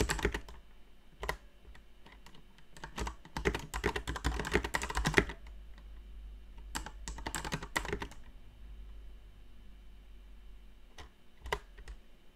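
Long painted nails tap on a plastic mechanical keyboard with plastic keycaps in slow, sparse typing, with pauses between. Quick, sharp clicks with short decay come in bursts, densest from about 3 to 5 seconds and again around 7 to 8 seconds, then a few isolated taps near the end. A faint low, steady hum runs underneath throughout.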